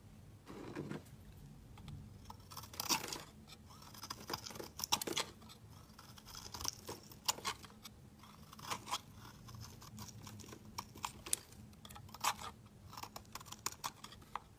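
A metal utility-knife blade shaves curled flakes off a hand-sized solid blue soap bar held in the hand. Repeated quiet, crisp scraping and crunchy cutting strokes come in short bright bursts, with a faint steady low hum underneath.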